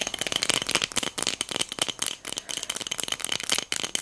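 A small pink hobnail-textured glass votive cup filled with pearl beads is tapped with long nails and shaken, making the beads rattle inside. The result is a rapid, steady stream of bright, sharp clicks and clattering with almost no low end, each tick dying away almost instantly.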